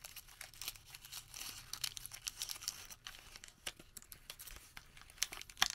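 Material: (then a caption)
Paper. A printed thermal paper receipt is crumpled, flattened and re-crumpled between the fingertips of both hands. The result is a quiet, irregular stream of bright, crisp crinkles and crackles, with brief tearing-like rustles and a few sharper snaps near the end.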